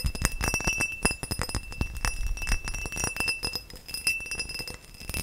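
Tall, hollow, empty faceted cut crystal glass vase held close and tapped rapidly with nails and fingertips. Dense clicking taps ring with a bright, sustained glassy tone and a steady high shimmer, over a soft low thump from the contact.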